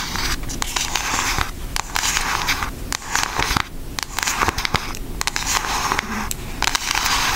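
Long nails of both hands tap on the front of a pink Aristocats cardboard eyeshadow palette. The result is a rapid, uneven stream of dry, crackly clicks and light scratches with a bright hiss above 1 kHz. Each tap dies away almost instantly.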